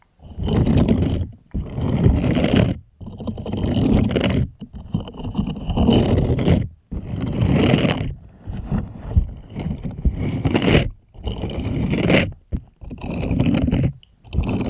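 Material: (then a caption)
Silicone. Small plastic toy hands scratch and rub the bristled palm of a purple silicone scrubber glove held upright. The result is repeated bursts of dense, rough scraping and rustling, heaviest in the low end with faint brighter hiss, separated by brief silences.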